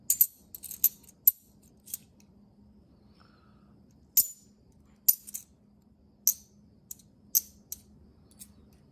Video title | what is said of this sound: Road Trip Silver! Not a letdown! (I was worried) - Coin Roll Hunting Half Dollars | that sounds hollow something's weird i think i have a magic coin here